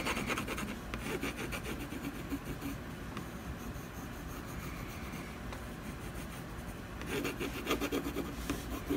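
A brown colored pencil scratches in quick strokes across a solid canvas panel near an owl. Dense, raspy rubbing bursts with a bright, grainy edge open the clip, ease into a quieter, steadier scraping through the middle, then return as sharper, choppier strokes at the end.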